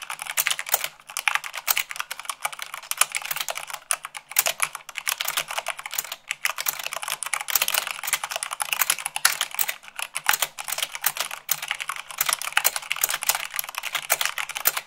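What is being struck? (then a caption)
Plastic mechanical keyboard. Long acrylic fingernails type fast on a full-size mechanical keyboard with white plastic keycaps on a black base. The result is a dense, continuous stream of sharp, bright plastic clicks and clacks, with almost nothing in the low end.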